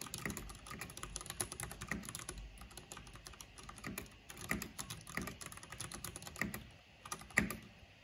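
Fingertips and long nails type continuously on a black plastic mechanical keyboard with a purple backlight, tapping the keys. A steady stream of quick, dry plastic clicks and clacks is heard, with bright, short-lived taps and a few louder key strikes standing out.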